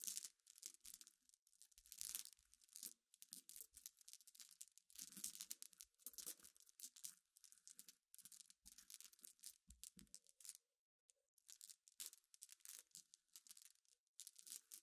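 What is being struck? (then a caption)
Small glass pebbles. Long nails scratch and rake through a pile of small, clear, solid glass pebbles resting on black cloth. The result is a continuous, bright, crackly clatter in dense bursts, with a brief pause near the middle.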